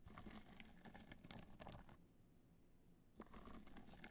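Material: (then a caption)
Rhinestone. Long nails tap rapidly on the top of a hollow black hard-shell clutch covered in multicolor rhinestones, resting on white fur. The result is a quiet, dense patter of small clicking, crinkly taps with a low hollow undertone. The taps pause for about a second before resuming.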